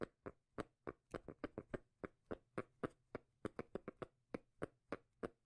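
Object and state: Cork lid.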